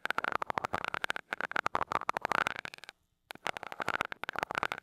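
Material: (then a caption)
Metal. A glass rod taps rapidly on the small gold metal mesh grille of a mini microphone, making a dense run of sharp, bright clicks with a tinny ring around 1 kHz. The tapping stops briefly near the three-second mark, then resumes at the same quick pace.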